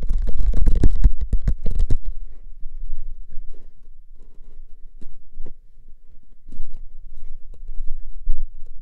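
Fingertips tap a hollow, paper-wrapped cardboard can held horizontally in both hands. A quick flurry of dull, hollow, low thumps fills the first two seconds, then fades into softer, sparser taps and light scratchy touches. Brief louder bursts return near the end.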